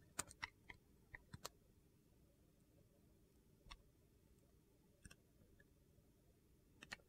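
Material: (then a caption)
Glycerin soap. A metal blade peels thin curling shavings off a solid translucent purple glycerin soap bar held in hand. Eleven short, sharp, bright clicks come in an uneven rhythm, clustered at the start, with each snap dying away almost instantly over a quiet low hiss.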